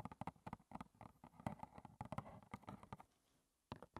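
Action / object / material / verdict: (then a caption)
tap / small cardboard tea box / cardboard / none. Long red-painted nails tap rapidly on the front face of a small, closed, hollow rectangular cardboard box of Clipper lime and ginger green tea, likely holding tea bags, standing upright on a table. The result is a quick run of short, dull, hollow clicks with a low body and almost no ring. The tapping pauses briefly near the end, then resumes.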